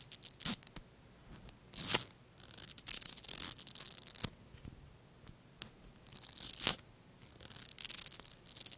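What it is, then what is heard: Plastic mascara wand brushed along fingers. A thin bristle brush wand is pulled out of a small pink plastic mascara tube held in one hand and drawn along the fingers of the other hand. The result is bright, hissy scraping and brushing in short bursts, broken by sharp little ticks and clicks, with almost no low end.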